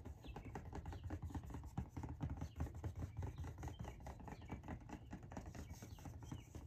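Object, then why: Cardboard shoe box. Long nails tap and scratch across the lid of a large orange Nike cardboard shoe box lying flat, hollow, with the lid on. The sound is a quick, irregular stream of soft, dull, hollow taps with a low body around 78 Hz, mixed with faint scratchy rasps. Each tap dies away almost at once.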